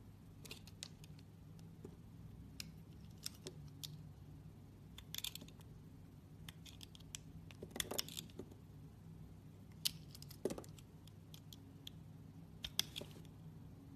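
A utility knife blade scrapes and cuts into the surface of a palm-sized, solid, round green bar of soap held in the hand, shaving pieces off. Soft, bright scraping and crisp little cutting clicks come in short scattered bursts over a steady low hum, with the loudest slices near the middle and end. The result is a quiet, close crunching-and-shaving texture.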